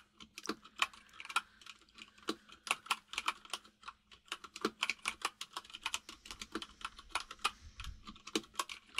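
Both hands type rapidly with their fingertips on a compact mechanical keyboard with white and grey plastic keycaps resting on a desk. The taps make a quick, uneven stream of sharp, bright plastic clicks that stop almost instantly. A faint, steady low hum sits underneath.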